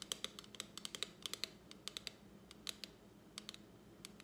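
Long acrylic nails tap and scratch a small plastic lipstick palette held up with its clear plastic lid open. About 23 quick, bright clicks with almost no ring, the loudest and densest in the first two seconds, sit over a faint scratchy hiss at a low overall level.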